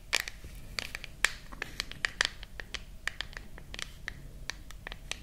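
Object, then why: Smartphone with glass and metal back. Long nails scratch and tap the back of a silver glass and metal smartphone held close to the microphones. A quick, irregular series of crisp, bright clicks and short scratchy strokes, each dying out almost instantly over a faint low hiss.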